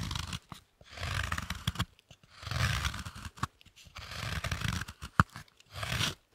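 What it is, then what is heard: Thick dark chocolate block. A knife shaves and scrapes a large, thick, solid dark chocolate slab held in the hands. Repeated rough, crunchy scraping strokes, each with a low, full body and a gritty, bright top, are separated by brief silences. A single sharp click cuts through near the end.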